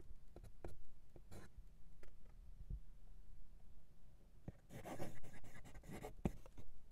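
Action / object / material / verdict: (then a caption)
scrape / steel fountain pen nib on lined writing paper / paper / none. A steel fountain pen nib, held in the fingers, writes cursive in green ink on a flat sheet of white lined writing paper resting on a desk. Quiet, dry scratching strokes and short ticks of the nib on paper come in uneven bursts, with a denser, brighter run of scratching toward the end.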